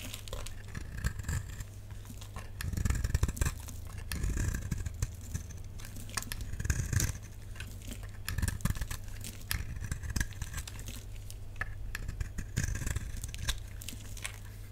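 A utility knife blade shaves and carves a hand-sized, solid, dark purple bar of dry soap held in the palm, scraping and cutting curls off its surface. Dense, dry scraping and crinkly crackles come in bursts over a steady low hum, with brief bright edges on some cuts.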